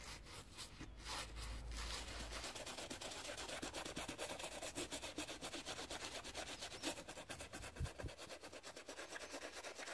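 A soapy teal toothbrush scrubs the lugs of the black rubber outsole of an Adidas Ultraboost, with foam showing through the holes, while the shoe is held on a towel. Rapid, continuous bristly scratching strokes fill the clip with a bright, hissy texture and a low rumble at the start.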